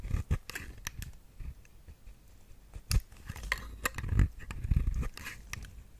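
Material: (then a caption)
Soap. A metal blade with a white handle scrapes and cuts a round, solid, dry pale pink bar of soap held in the hand, chipping pieces that break off. Short crisp scraping crackles and sharp bright ticks are heard over soft low thumps, each dying away almost at once.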